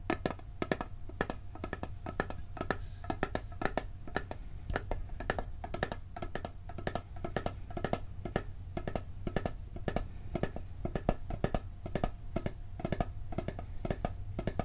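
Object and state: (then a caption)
Metal cookie tin. A round, hollow blue and gold metal cookie tin with a printed lid, held on a table, is tapped quickly on the lid and side with fingertips and short nails. The result is a dense, steady run of short, dry metallic taps with a faint ring over a low background hum.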